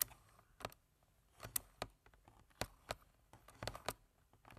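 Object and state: Plastic computer keyboard.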